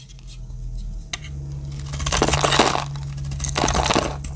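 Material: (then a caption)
Soap. A metal utility-knife blade cuts a grid into the dry surface of a solid, palm-sized blue and white striped Exxe bar soap and chips off cubes. A sharp click early on gives way to crisp, bright crunching and scraping that swells in two louder bursts, over a steady low hum.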